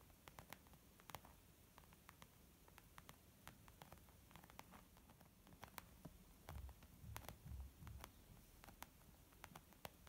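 A small white saffiano-textured leather zip makeup bag, soft, hollow and apparently empty, lies flat on a wooden table. It is tapped gently with long almond-shaped nails and fingertips of both hands. The result is quiet, irregular patter: short sharp clicks over a soft low rustle, with a few duller, heavier thumps in the middle.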